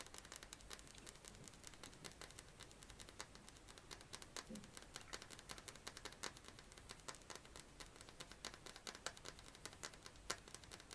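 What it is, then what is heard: Glass perfume bottle. A hand-sized, clear, thick glass perfume bottle with a metal cap is tapped and scratched with fingernails. Fast, continuous clicks and scratchy crinkling fill the clip, bright and crisp with very short ring.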